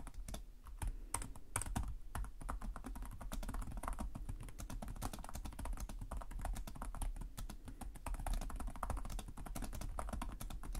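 Fingertips with short nails type continuously on the plastic chiclet keyboard of a black laptop resting on a desk. A rapid, steady stream of short, crisp key clicks continues throughout, each tap dying away almost instantly over a constant low hum.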